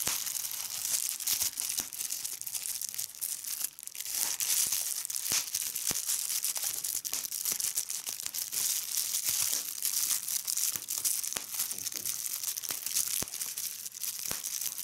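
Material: Plastic.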